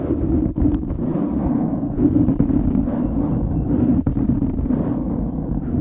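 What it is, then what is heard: Foam microphone windscreen being scratched. Fingertips scratch and squeeze a dark grey foam windscreen on a microphone, producing a dense, continuous scratchy rustle. The sound is heavy in the lows and low mids with little high content, holding a steady level with a few sharper clicks.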